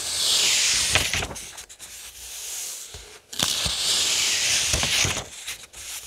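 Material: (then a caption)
Paper. Fingertips rub and trace across the printed paper pages of an open paperback novel held flat. The result is a bright, dry, hissing scratch that swells in two long strokes, with brief pauses and faint papery clicks between them.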